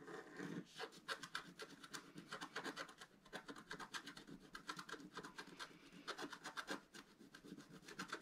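A wooden stylus rubs and scratches a wide stripe across a black-coated scratch-art card lying flat on a table, using rapid strokes. The result is a quiet, steady stream of dry, bright scratching bursts with almost no low end, each stroke cutting off quickly.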